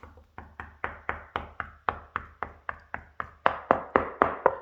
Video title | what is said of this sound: Ep 7: 3 months in! Snail wins the race right? | the plaster started falling off, and you can hear hollow. It's hollow.